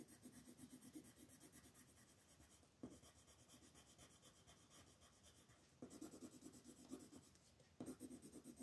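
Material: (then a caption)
Paper. A wooden colored pencil rubs back and forth across a flat white paper sheet printed with a mandala, held still on a table by the fingertips of one hand, to fill in color. The quiet, dry scratching comes in rapid, even strokes with a bright, papery hiss. The strokes briefly pause and restart more strongly about three times.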